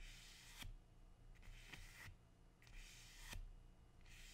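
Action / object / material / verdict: scrape / large leathery plant leaf / leaf / none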